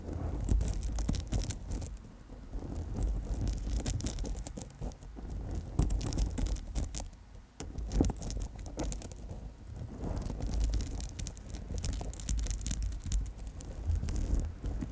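An amethyst chip bracelet on gold wire is held against the microphone while long nails tap and scratch the purple stone chips. The result is a dense, continuous patter of small clicks and rattles over a heavy low rumble, with brief quieter dips near the five- and seven-and-a-half-second marks.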